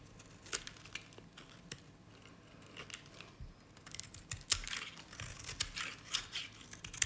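A utility knife blade shaves curls off the bottom of a cream-colored dry solid bar of Nevskaya Cosmetics soap. Crisp, bright scraping and crackling strokes come in irregular bursts, growing denser and louder toward the end, with no ringing after each cut.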